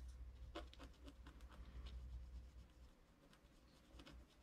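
A wooden stylus scratches fine lines into a flat scratch-art card of wax-coated paper lying on a table, with the other hand resting on the card. Quiet, short, irregular scratchy strokes with bright edges sit over a steady low hum.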